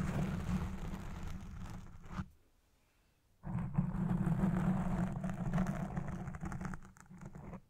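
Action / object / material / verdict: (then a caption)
scrape / foam microphone windscreen / foam / none. Red-painted nails scratch the sides and top of a black foam windscreen on a Blue Yeti Pro microphone, making a dense, muffled, low rumbling scrape directly into the mic. The scratching cuts to near silence for about a second, then resumes just as loud and fades slightly at the end.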